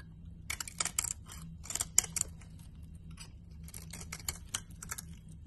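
A blade scrapes curled shavings off a solid green and cream piece of laundry bar soap, producing a series of short, crisp, bright scraping bursts. Each stroke is dry and high-pitched, with no ring, over a faint steady low hum.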